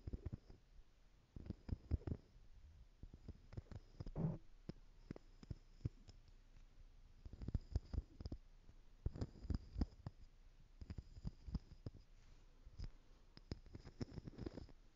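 A small stack of clear plastic jars with glitter inside is tapped and scratched on the top and sides with long nails. Quiet, dull, low taps and short clicks come in quick clusters, separated by stretches of soft scratching.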